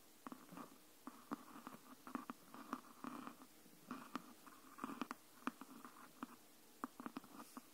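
Long nails tap and scratch along the top edge of a green hardcover book. About 21 quiet, dry taps with no ring sound, irregularly spaced, with soft scratchy rustling between them. The tone is mid-pitched with little low or high end.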